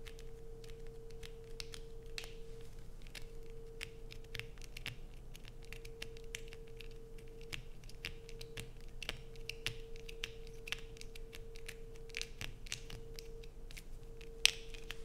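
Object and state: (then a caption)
Bar soap being scratched. Long pointed acrylic nails scratch hard at a solid, palm-sized blue soap bar, already carved with grooves and held in both hands, as shavings fall onto a black plastic sheet. Quick, dry, bright scratches and sharp clicks come one after another over a steady low hum, with one sharper crack near the end.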